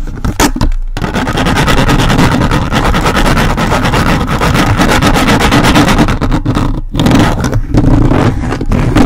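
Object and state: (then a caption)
Metal mesh microphone grille being scratched. The grey plastic fingertips of a toy robot grabber hand, worked by its hand trigger, grip and scratch a hollow metal mesh microphone grille. A loud, dense, rapid rasping and scraping runs almost continuously with a heavy low rumble, broken only by brief pauses near the start and around the seven-second mark.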